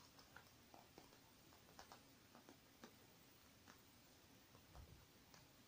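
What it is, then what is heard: Faux leather makeup bag. Long painted nails tap on the surface of a small, silver, metallic faux-leather zippered makeup bag that lies closed on a wooden table, soft and partly filled. The result is a string of quiet, light, crisp ticks at an uneven pace over a low, steady hiss, with a slightly duller, deeper tap near the end.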